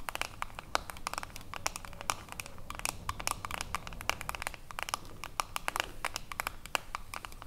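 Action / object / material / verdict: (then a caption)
tap / metal screw lid on a glass jar / metal / none. Long acrylic nails tap and scratch the ridged edge of a silver metal screw lid on a small, full glass cream jar. A rapid, uneven stream of sharp, bright clicks and scratchy ticks rings only briefly over a soft, low background hum.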